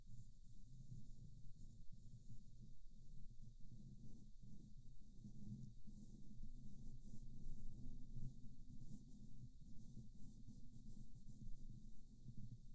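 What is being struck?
Nothing is struck.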